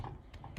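A cooking spoon gently taps the surface of cooked basmati rice in a pot, producing soft, dull, low thuds that die away almost at once. This tapping check, a method taught by the cook's mother, shows there is no water left and the rice is cooked all the way through.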